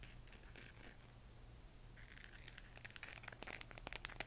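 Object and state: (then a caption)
Plastic moon lamp tapped with nails. A handheld, hollow spherical LED moon lamp of 3D-printed plastic, lit from inside and changing colour, is tapped and scratched with long manicured nails and fingertips. Soft, bright scratching and rubbing of the plastic shell comes first, then a quicker run of sharp, dry clicking taps that die away at once. It is all quiet, over a steady low hum.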